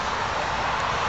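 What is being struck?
Nothing is struck.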